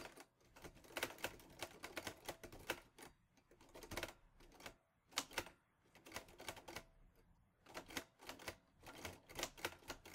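Fingertips type steadily on the round keys of a mint-green Olivetti Lettera 22 portable manual typewriter with a metal body and paper loaded. Quick bursts of sharp, bright clacks arrive in clusters separated by brief pauses. Each strike dies away almost instantly, with little low-end weight.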